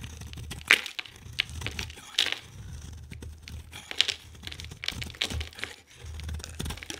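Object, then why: Bar of soap. A utility knife blade shaves thin strips from a solid, hand-sized oval bar of soap with an orange core and a lime-green coat. The cuts make crisp, bright crackling and scraping sounds with sharp snapping peaks over a faint low hum. Each stroke ends quickly with almost no ring.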